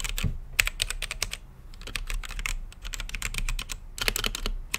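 Fingertips type on a blue-lit mechanical keyboard with plastic keycaps set in a clear acrylic case. The result is a rapid, uneven run of short, bright clacks over a low thocky body, each keystroke dying away almost instantly, with brief pauses between bursts.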